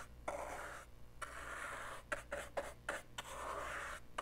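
A small, dark, hollow plastic portable cassette player, held in one hand, is brushed and scratched with the tip of a green-handled paintbrush. Eight dry, hissy scratching strokes are heard, some long and some short, separated by brief gaps over a faint low hum.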